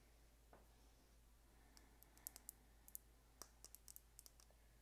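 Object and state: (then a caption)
Plastic lip gloss tube. A small, slim, light-colored hollow plastic lip gloss tube with a gold and blue cap is held in one hand and tapped with long painted nails. The result is about fifteen quiet, bright, dry clicks in an irregular rhythm, each dying away almost instantly, over a steady low hum.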